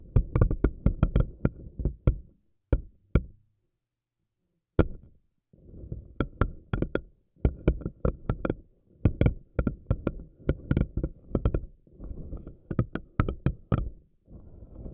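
Fingernails pinch and pull the tentacles of a pink silicone spiky anemone ball, and the tentacles snap back when released. Sharp, quick snapping clicks ride over a low, soft rubbery rustle, coming in rapid bursts broken by brief pauses of silence.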